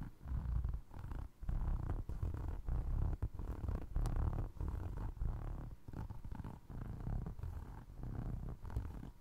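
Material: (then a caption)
Foam resin. Fingers scratch across the ridged sole of a single navy blue foam resin Crocs clog, then tap its side. The result is a close, low, rumbling texture of rapid scratching bursts with brief pauses between them.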